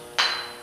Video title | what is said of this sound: GRINDER SAFETY | if you can hear that little resonating ring that little Ting that goes all the way around you know there aren't any cracks in there